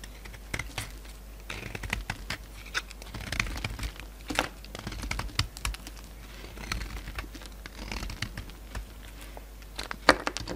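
A solid white bar of soap with a burgundy rim, held in the hand, is shaved and cut with a pink utility knife as flakes break off. The result is a steady run of dry, crisp scraping and crackling ticks, punctuated by sharp, bright snaps that die away almost instantly over a faint low hum.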